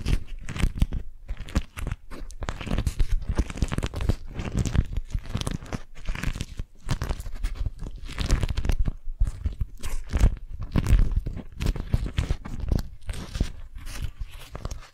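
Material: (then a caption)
Waxed cotton. An orange-print beeswax-coated cotton food wrap, crumpled into a ball, is squeezed and crinkled by long nails. Dense, continuous crinkling and crunching fills the clip in quick, uneven bursts, with a heavy low-end thump beneath the brighter waxy crackle.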